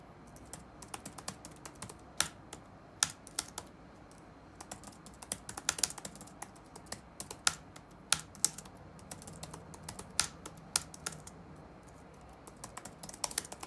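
Fingertips of both hands type on the dark plastic chiclet keyboard of a laptop resting on a wooden desk, the hollow keys sitting over a solid chassis. Quick, bright, dry key clicks come in an irregular stream with a few louder taps, each dying away almost at once over a faint low hiss.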